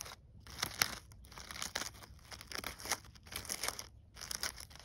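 Fingers with long nails rub and crinkle the burlap petals and gold glitter leaves of a glitter-coated artificial poinsettia lying on snow. The result is a run of dry, bright crinkling and scratchy rustles that swell and fade in irregular bursts, with brief quiet gaps between them.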